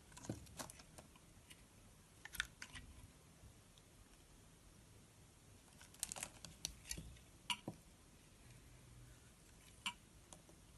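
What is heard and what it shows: A metal box-cutter blade scores and scratches grid lines into the surface of a solid, translucent pink rectangular bar of soap with an embossed logo, held in the hand. Quiet, crisp scraping clicks come in short bright bursts, with brief gaps of faint hiss between the cuts.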